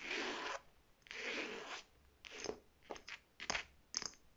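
Long red nails scratch and tap a hollow, medium navy faux leather clutch-style shoulder bag with a striped fabric-covered flap, gold metal trim and a smooth navy body. Two long, hissy scratching strokes come first, followed by a string of quicker, crisp taps and short scrapes.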